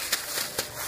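Two dry knocks on a felted wool slipper after fulling give short, bright taps over a faint hiss, with little low end. The dense felt sounds like cardboard, showing it has shrunk well in thickness and is ready.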